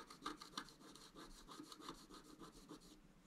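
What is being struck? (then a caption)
Wooden stylus on coated scratch art card. A wooden stylus scratches the design of flowers and an antler into a flat black-coated scratch art paper card. Quick, fairly regular back-and-forth strokes produce a dry, bright, raspy scratching sound at a soft level, with brief pauses between strokes.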